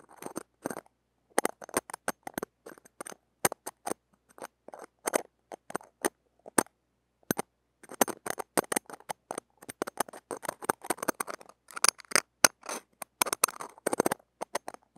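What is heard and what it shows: The tips of metal tweezers scratch and pick across the uncovered, small hollow woven stainless-steel mesh grille of a hand-held mini microphone. The result is close, dry bursts of sharp clicks and raspy scraping with a bright top and almost no low end, each stopping dead with no ring. The scratching grows denser and busier in the second half.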